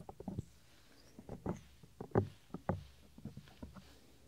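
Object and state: Silicone microphone ear rubbed by fingertips.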